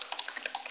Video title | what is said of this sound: Kosas Tinted Face Oil Foundation Review | you have to shake it quite a bit. You can hear the little thing.